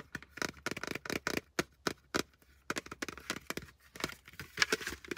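A plastic hard hat is tapped fast and aggressively with fingers for ASMR. Rapid bursts of sharp, dry, bright clicks and knocks come in uneven clusters, each dying almost instantly with no ring and very little low end.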